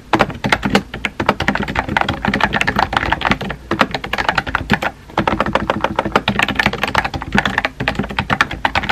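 Fingertips with painted nails type rapidly on a compact pink plastic mechanical keyboard with round white-and-pink typewriter-style keycaps and a hollow body, resting on a desk. The result is a steady stream of sharp, hollow clacks that stop quickly, with brief pauses near 3.6 and 5 seconds.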